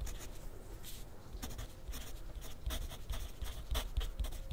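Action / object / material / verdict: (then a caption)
scrape / paper sheet on clipboard, written on with a graphite pencil / paper / none. A wooden graphite pencil scratches continuously across a thin sheet of grid paper resting on a clipboard on a desk. Short, dry, bright scratching strokes come in quick bursts over a soft low rumble, growing slightly louder toward the end.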